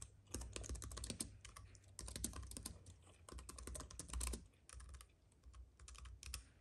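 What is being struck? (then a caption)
Plastic-key keyboard on an aluminium base. Fingertips of both hands type rapidly on a compact white wireless keyboard with plastic keys on a silver aluminium base, lying on a dark fuzzy mat. Quick, bright clicking taps come in dense bursts with short pauses between them, over a steady low rumble.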